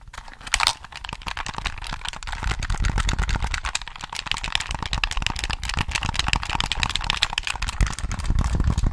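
A hollow black plastic PS3 controller is held close to the mic while fingertips tap and click its buttons and sticks. The result is a dense, steady stream of quick, dry plastic clicks and taps with bright crackly edges over soft low thumps, each sound dying away almost instantly.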